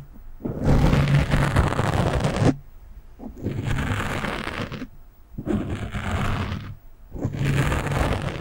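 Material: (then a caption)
Foam. Long nails of one hand scratch the top of a black foam windscreen on a microphone, making dense, crackly rustling scrapes with a heavy low rumble. The scratching comes in four bursts of a second or two, separated by short pauses.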